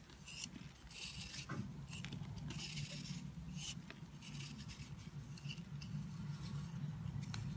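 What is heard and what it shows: A dry green soap bar is scraped with a blade, then crumbled by fingertips into powdery chunks. Soft, uneven scratching and crumbling sounds repeat with bright, papery rasps over a low, steady rumble.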